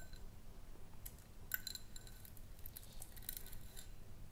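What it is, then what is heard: Glass jar tapped with fingernails. Long nails tap and scratch a small, round, clear glass jar with a ribbed rim, empty and hollow and held in both hands. Quiet, bright clicks and a faint ring around 1.5 kHz come in scattered bursts over a steady low rumble, with one sharper tap standing out midway.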